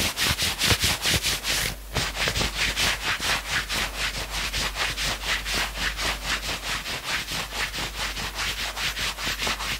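Fingertips scratch fast along the maroon sleeves of a worn knit sweatshirt. Rapid, steady rasping strokes sound bright and hissy, with a brief pause near the two-second mark before the scratching continues.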